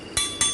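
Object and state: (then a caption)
Uncracked transmission case. Two sharp knocks on a small, easily cracked area of the automatic transmission case near a bolt, during a teardown of a 2020 Hyundai Sonata DN8, testing for a crack the eye may miss. Each knock gives a bright, short metallic clink that fades quickly without rattling. It sounds solid, so the part is not cracked; a cracked one would sound different and rattle.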